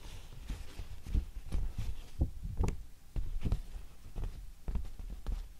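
A large, thin pink handmade paper sheet with plant inclusions and dark fibre flecks, flat and not hollow, is held up in both hands while long painted nails and fingertips tap and scratch it. The result is a series of soft, dull, low thumps with brief scratchy rustles, each dying away almost at once.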